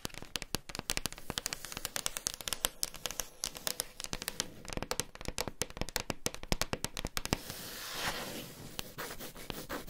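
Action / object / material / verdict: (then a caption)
tap / wooden tabletop / wood / none. Long pink nails on both hands tap and scratch a large, solid wood-grain tabletop, while two pen microphones lie untouched at its edges. Rapid, dry, bright clicks with almost no ring fill the clip, and near the end they give way to a steadier scratching hiss that swells briefly before the tapping returns.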